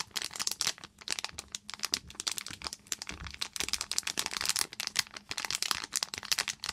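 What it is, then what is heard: Foil plastic pouch being crinkled. A small silver and clear foil pouch with a sponge inside is crinkled and scratched with long nails. The result is a rapid, continuous stream of sharp, bright crackles and crinkles with almost no low end, each snap cutting off instantly.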